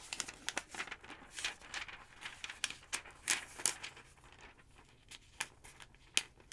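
Pages of a large, thick yellow paper phonebook lying open on a wooden table are flipped while long nails brush lightly across the open page. The result is a quick series of crisp, bright paper crinkles and soft rustling scrapes with almost no low end and very short, dry decays.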